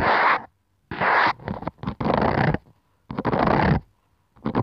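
Long yellow nails scratch and rub across the smooth, glossy plastic front cover of a medium-sized red spiral-bound notebook held upright. Dry, broadband scraping sounds come in uneven bursts separated by short silences.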